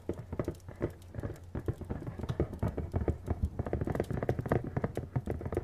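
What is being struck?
Printed cardboard box.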